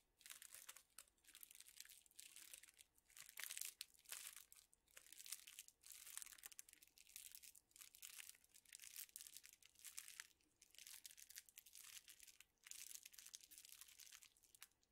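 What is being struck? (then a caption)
Straws in thin plastic wrappers. A small bundle of straws in thin clear plastic wrappers is squeezed and crinkled in the hands. The result is a steady stream of bright, crackly crinkling in short bursts separated by brief pauses, with almost no low end.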